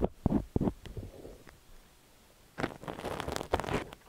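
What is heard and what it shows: A thin steel ear pick scrapes inside the canal of a cream silicone dummy-ear microphone while fingertips hold the ear. The result is close, muffled scraping and rustling bursts with low thumps. After a quiet gap near the middle comes a denser stretch of crackly, brighter scraping.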